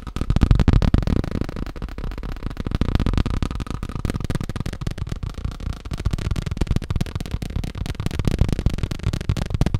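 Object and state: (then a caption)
Plastic tablecloth. Fast tapping on a plastic tablecloth makes a dense, uneven stream of dull, low-pitched taps. The taps are short and barely ring, running on steadily throughout.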